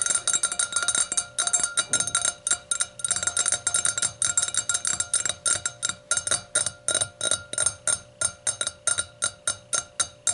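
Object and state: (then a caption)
Hurricane glass. A hurricane glass is tapped in a rapid, steady series, giving bright, high-pitched ringing clinks with tones near 1.3 kHz and 600 Hz. Each clink decays quickly, with almost no low end beneath it.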